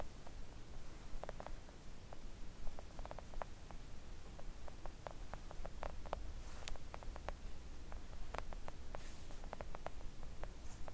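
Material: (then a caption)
Silicone. Long acrylic nails gently tap a flat pink silicone nail art mat lying on a table. The taps come as soft, quick, dull clicks in an irregular stream over a steady low hum.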